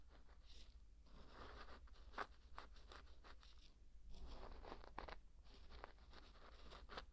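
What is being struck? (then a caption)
Dry pearl barley grains stirred with a thin wooden stick. A thin wooden stick is pushed into and dragged through dry pearl barley grains, producing a quiet, dry, grainy rustle and crunch. Short scraping bursts come and go, with a steady low hum underneath.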